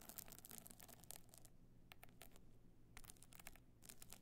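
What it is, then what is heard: Stone-chip covered clutch being scratched. A stone-chip covered box clutch with a gold metal frame stands on its edge while long nails scratch its glued stone-chip side. Quiet, bright, gritty scratching comes in bursts with short pauses, over a low steady hum.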